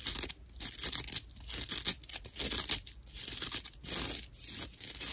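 Long nails scratch across the top of a dry natural loofah slab of coarse plant fiber held in one hand. The result is a rough, bright, raspy scratching in uneven bursts that swell and fade with brief quieter gaps between strokes.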